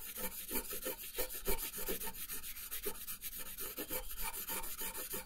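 A brown wooden colored pencil held in the fingertips colors a thin printed paper coloring page lying flat on a wooden table. Quick, continuous rubbing and scratching strokes repeat at a fast, uneven rhythm. Each stroke has a dry, raspy texture with a bright hiss on top.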